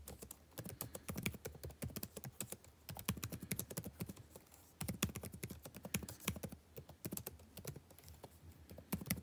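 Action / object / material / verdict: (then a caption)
tap / plastic laptop keyboard keys / plastic / none. Fingertips type steadily on the plastic chiclet keys of a backlit laptop keyboard, producing quiet, rapid, short clicky taps with a soft low thump and a bright edge. The typing comes in bursts with brief pauses, each tap dying away almost instantly.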